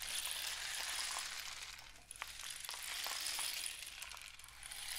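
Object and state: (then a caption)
Cardboard rain stick. A painted cardboard rain stick tube is held upright and tilted while fingertips tap along its side. A steady, bright rushing patter like falling rain fills the clip, thins briefly near the two-second mark with a few sharp light clicks, then swells back to a full shower.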